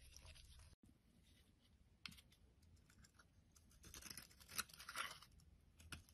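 A solid oval purple Lux soap bar, held in the hand, is scraped with a metal utility blade as crumbly flakes fall away. Quiet, bright, crackly scraping strokes come in irregular bursts, after a brief moment of silence near the start. The strokes grow louder and denser toward the end.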